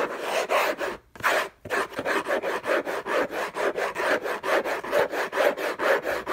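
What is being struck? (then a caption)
Cardboard box lid. Fingertips and nails scratch rapidly back and forth across the hollow lid of an orange Hermès cardboard gift box. The result is a dry, rasping scrape that swells and fades with each stroke, stopping briefly twice near the start before settling into a steady, slightly uneven rhythm.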